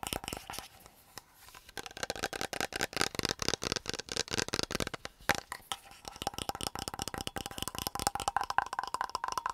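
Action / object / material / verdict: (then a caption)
tap / plastic water bottle with metal screw cap / plastic / none. Fingertips rapidly tap the silver metal screw cap and hollow body of an empty, medium, clear plastic water bottle while the lid is quickly opened and closed. A dense stream of short, dry clicks and crinkly taps fills the clip, with a faint ringing tone near 800 Hz and bright edges on each hit.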